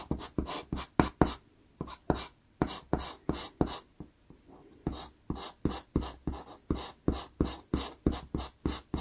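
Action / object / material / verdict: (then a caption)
scrape / pastel pencil on textured pastel paper / paper / none. A black wood-cased pastel pencil, held by the fingertips, makes short scratchy strokes on a small taped sheet of Pastelmat pastel paper while shading dark fur below an eye. About 27 quick, dry scratches come in rapid bursts, with brief pauses near the start and middle. Each stroke has a papery rasp and a soft low body, stopping dead with no ring.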